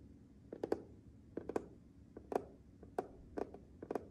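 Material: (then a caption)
Glass. Fingertips and nails of one hand tap and rub across the flat glass control panel of a matte black refrigerator's water and ice dispenser, which is fixed solidly in the door. Twelve short, dry clicking taps land in quick clusters of two or three, with faint scratchy rubbing between them and almost no ring.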